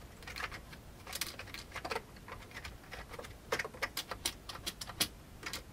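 Fingertips of both hands type on the keys of a full-size old beige plastic computer keyboard with a hollow plastic case. Quick, bright, crisp key clicks fall in uneven bursts and single taps, each dying away almost at once against a quiet low background.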